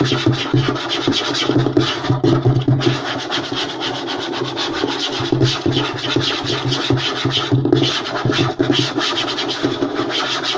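Both hands rapidly scratch with fingernails and tap with fingertips on a flat, light wooden tabletop. A dense, continuous rasp of scratching is heard over steady low, woody knocks and a bright hiss, with no pauses.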